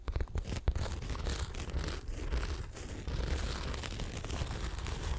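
A small blue Coach handbag in signature jacquard fabric with a leather handle, hollow and structured, is held against the mic and scratched and tapped with long acrylic nails. The result is a dense run of close, crinkly scratching and soft tapping. The sound has a heavy low-end thump and a faint bright hiss.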